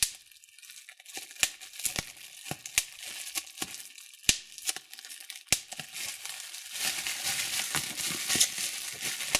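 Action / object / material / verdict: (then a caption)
shake / plastic bubble wrap / plastic / none. Thumbs and fingertips pinch a sheet of clear plastic bubble wrap, popping its hollow air bubbles one after another. Sharp, bright, dry pops stand out over a constant soft crinkling of the plastic. In the last few seconds the crinkling grows louder and denser between the pops.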